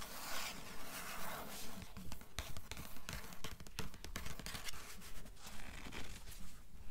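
Long nails scratch and tap on the blue paper endpaper of an open hardcover book. Soft, dry scraping is broken by a steady run of light taps, about two per second, with a faint low rumble underneath.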